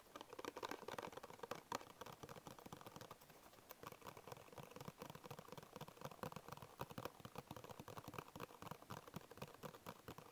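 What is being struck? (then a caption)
Paperboard biscuit box. Fingertips with short nails tap and scratch the flat printed side of a small, hollow, apparently closed paperboard Bisco biscuit box. The result is a quiet, dense patter of quick, dry clicks with a hollow, papery mid-range tone and almost no ring. Soft scratchy rustling fills the gaps between the taps.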